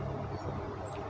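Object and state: Nothing is struck.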